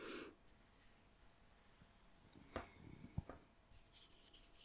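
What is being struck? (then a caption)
Kinetic sand on a wooden board. A lump of pink kinetic sand on a wooden board is pressed flat with palms and fingertips, then lifted and pulled apart. Soft, quiet rubbing and squishing give way to a few sharper taps and crumbles, ending in a bright, hissy crumbling as the sand separates.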